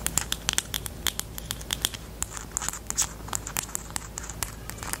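Long nails tap rapidly on the plastic body of a pastel pink plastic highlighter with a black cap. The clicks are sharp, bright and quick, in a steady irregular patter over a low hum.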